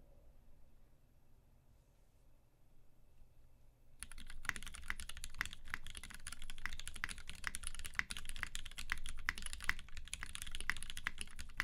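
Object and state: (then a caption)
Mechanical keyboard with PBT keycaps and a hollow aluminium case. A UTD 360C tenkeyless mechanical keyboard with a gummy-worm mount, Vintage Black switches lubed with 205g0 and filmed, white PBT keycaps and a hollow silver aluminum case sits on a printed desk mat. After about four seconds of near silence, both hands type rapidly with their fingertips, bottoming out the keys. The result is a dense, uneven stream of short, deep clacks with sharp clicks near 2 kHz and a bright top edge.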